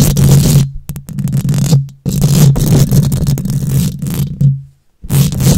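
Long nails scratch and tap across a bare steel mesh microphone grille, producing loud, rough, boomy scraping dominated by low rumble with a steady low hum underneath. Bursts of dense scratching are broken by a few brief pauses where the sound fades or cuts out.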